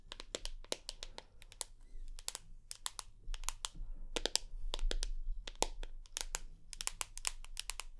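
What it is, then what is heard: Smartphone tapped with fingernails. Long acrylic nails tap and scratch the glass screen and aluminium edges of a hand-sized rose gold iPhone held up near the face. Quick, sharp, bright clicks land in an irregular stream of about three per second, each dying away instantly, over a faint low hum.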